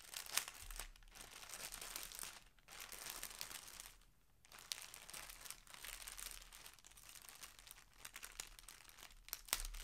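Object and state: Clear plastic polybag.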